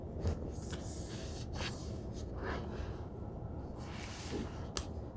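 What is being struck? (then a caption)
Cloth-covered hardcover book. Hands rub along the page edges on the side of a large, solid, heavy black cloth-covered hardcover omnibus, then flat palms and fingertips rub across its cover. The result is quiet, steady, low-heavy friction with soft bright brushing swishes rising and fading, and one brief sharp tick near the end.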